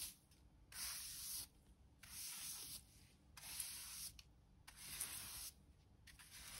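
A hand brush with stiff pale bristles and a black plastic back is swept slowly across a bare, mostly clean concrete floor in a small indoor room. Four short, slow brushing strokes give a bright, hissy scrape, with quiet pauses between them and a fainter fifth stroke beginning at the end.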